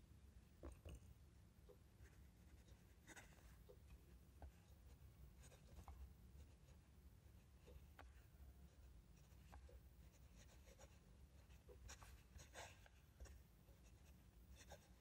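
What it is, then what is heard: Fountain pen nib scratching on notebook paper. A metal fountain pen nib scratches across an open ruled paper notebook page on a desk as a hand writes cursive lines. Soft, bright scratches and small ticks from the nib come and go over a steady low hum. The writing stays quiet and even throughout.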